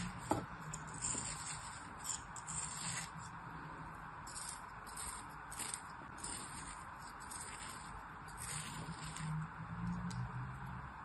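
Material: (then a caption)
Kinetic sand. A black-handled metal blade scores and slices lines through a solid molded kinetic sand figure resting on a palm. Soft, gritty scraping strokes come in a steady series over a constant bright hiss, with a low background murmur underneath.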